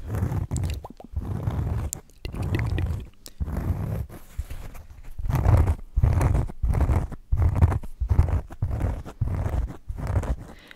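A thin, flat oval cork board is held beside the microphone and scratched with the fingertips, then rubbed close to the mic. The result is repeated bursts of dull, crunchy scraping, heavy in low rumble. They come in uneven strokes separated by brief pauses.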